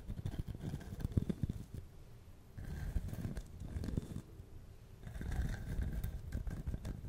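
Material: Wood.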